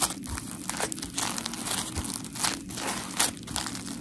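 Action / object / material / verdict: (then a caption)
scrape / polymer foam scrub sponge / polymer foam / none. Long nails scratch and squeeze the gritty blue face of a dry, solid, hand-sized smiley-face polymer foam scrub sponge made of coarse porous foam. The result is a dense stream of crinkly, crunchy scratching with bright bursts of hiss over a faint low rumble.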